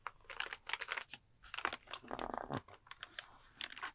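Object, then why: Plastic computer keyboard keys. A pink plastic computer keyboard is held in front of the microphone while fingertips type on the keys and scratch across the keycaps. Quick, bright clicks and taps are broken up by a longer scratchy rasp in the middle, all quiet and close with almost no low end.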